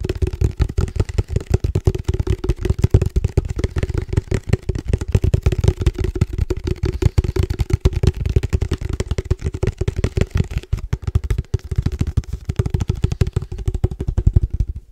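A hollow black cylindrical padel ball tube with a red logo and a metal lid is tapped quickly with fingertips on its side and top. The result is a steady stream of dense, fast taps, each a short, low, hollow knock with a faint resonant ring, continuing for the whole clip.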